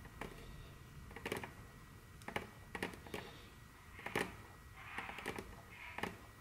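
Very long curved fingernails tap and click rapidly on a large, solid, dark brown glossy wooden tabletop. Short, sharp clicks come in quick clusters, with brief bright scratchy swishes between some taps, over a quiet steady background.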